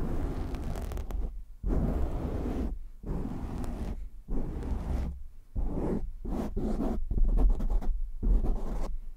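Hands cup a black foam windscreen on a microphone while fingertips scratch it fast and hard. The result is rough, boomy, low-heavy rubbing and scratching in bursts, separated by brief quiet pauses.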